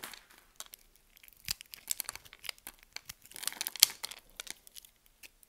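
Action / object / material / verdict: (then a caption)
scrape / soap bar / soap / none. A solid green soap bar held in the palm is cut with a metal utility blade, the blade scraping and slicing through the soap as grid-cut cubes break off. The sound is a dry, crisp series of short crackling snaps and scrapes, almost entirely high-pitched, with no low end and no ring after each break.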